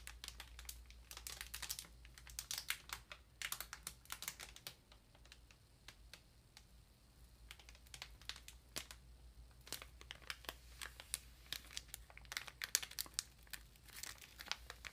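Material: Plastic film.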